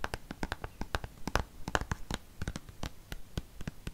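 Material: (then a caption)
Plastic. A dark green plastic cream tube is held upright and tapped and scratched with fingernails. About two dozen quick, dry clicks and scratches come in an uneven rhythm, each with a dull low thump and a faint bright edge that dies away at once.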